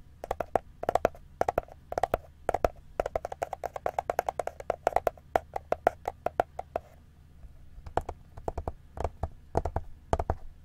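A white plastic-covered ring binder, held upright in both hands and likely hollow or empty, is tapped and scratched on its cover and spine by fingertips. Dozens of quick, dry taps with a hollow woody knock around 690 Hz come in rapid runs over a faint low hum, with soft scratching between them. The tapping thins into sparser, scattered knocks in the last few seconds.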